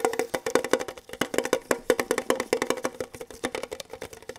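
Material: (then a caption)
Tin. Fingertips, one hand in a latex glove, rapidly tap a small, hollow, red printed metal Kellogg's tin box held in both hands. About thirty quick, dry clicks with a hollow ring around 500 Hz and a bright top end follow one another in an uneven, rolling rhythm. Each tap dies away almost at once.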